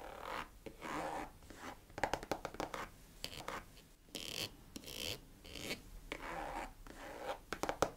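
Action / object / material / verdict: scrape / leather boot / leather / none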